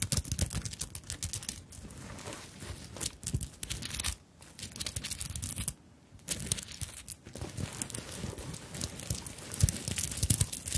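Long acrylic nails tap and scratch across a small, soft fabric handbag covered in sequins and plastic bead flowers, held up close to the microphones. The result is a dense stream of quick, bright crinkly clicks and scratchy rustling with a soft low rumble underneath. There are brief quiet gaps around the 4- and 6-second marks.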